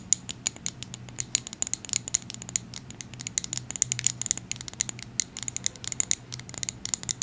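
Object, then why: Small amber glass dropper bottle filled with oil. Long acrylic nails tap rapidly and irregularly on a small amber glass oil bottle with a gold and white dropper cap, filled with oil. The result is a steady stream of sharp, bright, high clicks that die away instantly, over a faint low hum.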